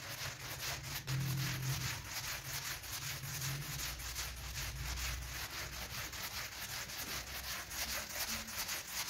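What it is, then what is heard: Synthetic pile carpet being scrubbed. A small hand brush in a green-gloved hand scrubs back and forth across a large, flat, thin, solid synthetic pile carpet that lies wet and soapy on a tiled floor, with water and foam present. Quick, steady strokes make a bright, broadband rasping swish, with a faint low hum underneath.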